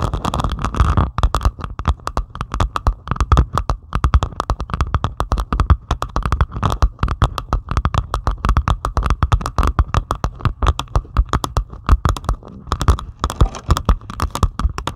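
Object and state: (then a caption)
Diamond painting of resin drills on canvas. Long pointed acrylic nails scratch and tap rapidly across a flat diamond painting of plastic resin drills on canvas. The result is a dense stream of short, crisp clicks with almost no ring, sitting on a low, thumpy base.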